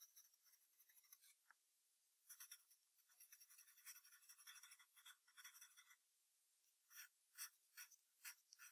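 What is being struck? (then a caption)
Graphite pencil on paper sheet backed by hardboard clipboard. A yellow wooden graphite pencil held in the fingers sketches the outline of a fox's ears on white drawing paper taped to a flat, solid brown hardboard clipboard. Soft, bright, dry scratching strokes come in short irregular bursts, with a longer stretch of continuous scratching in the middle. The clip ends with a few separate, sharper strokes.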